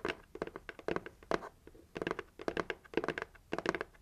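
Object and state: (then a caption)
Hollow cardboard box. Long nails tap and knock on the plain red side of a hollow, heart-shaped cardboard gift box. The result is bursts of quick, dry, hollow clicks and knocks with a midrange body around 400 Hz that die away almost instantly. The bursts come in clustered runs separated by short quiet gaps.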